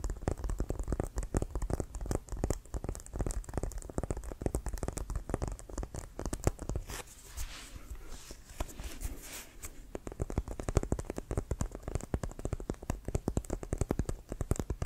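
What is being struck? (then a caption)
Composite leather American football. A full-size, inflated, hollow brown pebbled composite leather American football with a white stripe is held in the hands and tapped and scratched with fingertips and nails. Rapid, dense taps give low, hollow thumps with a dry, short decay. Around the middle, the tapping thins out into softer scratching and rubbing on the pebbled surface before the quick tapping resumes.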